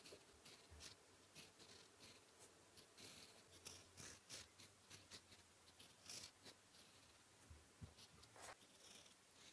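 A metal fountain pen nib held in fingertips scratches across a flat sheet of white lined notebook paper resting solid on a surface, writing Korean characters in blue ink. Quiet, bright, dry scratching strokes come in short bursts with small pauses between them, sitting over a faint low hum.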